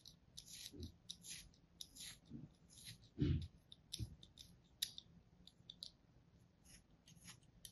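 A thin metal blade repeatedly scores a flat molded kinetic sand shape resting on an open palm, cutting it into ridges. Each stroke makes a soft, short, gritty scrape with a bright, crisp hiss over a quiet low rumble, with one slightly heavier, duller cut partway through.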